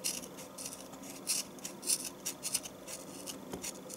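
A knife shaves the top edge of a solid, rectangular yellow bar of household soap in repeated strokes, with the flakes falling into a tub. Each stroke makes a short, bright, dry scraping rasp at an uneven pace, with little low end, over a faint, steady background.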